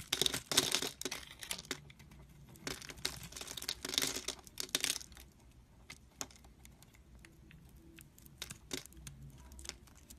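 A metal utility-knife blade shaves and slices thin strips off a solid green soap bar held in the hand. Bright, crisp scraping and crinkly tearing bursts come in louder clusters early on, then ease into softer, scattered dry ticks and clicks.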